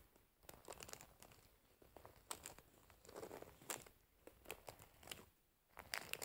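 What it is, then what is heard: Wooden hairbrush with metal pins. Long nails scratch and pluck the metal pins of a wooden hairbrush set in a rubber cushion. The result is a quiet run of bright, crinkly scratching broken by sharp, dry clicks that die away almost at once. Scattered louder flicks rise above the soft rasping between them.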